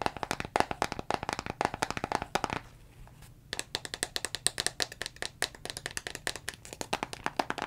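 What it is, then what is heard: Plastic vitamin bottle. Fingernails tap rapidly on a hollow brown plastic Jamieson vitamin bottle with a paper label and a green plastic cap, contents unclear, striking both the label and the cap. The taps are quick, dry and bright, with almost no ring. They come in a steady flurry, pause briefly near the three-second mark, then resume just as fast.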